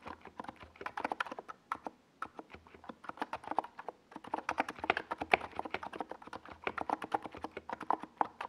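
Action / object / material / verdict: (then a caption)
tap / plastic mechanical keyboard with plastic keycaps / plastic / none. Both hands type with their fingertips on a NiZ Plum Atom 68, a compact 68-key mechanical keyboard with a hollow white plastic case and purple and yellow Domikey Gas Attack plastic SA keycaps, resting on a desk pad. A steady run of short, sharp clacky keystrokes with a hollow plastic tone fills the clip, broken by brief pauses near two and four seconds.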